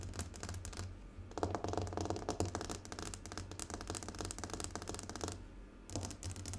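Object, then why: Glass tabletop. Fingernails tap rapidly on a glass tabletop in a long, continuous stretch of fast, overlapping clicks. The sharp taps sit over a low, steady hum, with brief quieter gaps near the middle and end before the tapping resumes.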